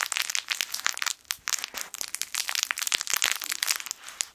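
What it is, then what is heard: Fabric crinkle toy with crinkle film inside. A yellow sun-shaped plush fabric crinkle toy with crinkle film inside is squeezed with fingertips. It gives dense, bright, crackly crinkling in quick bursts with brief pauses between squeezes, and almost no low end.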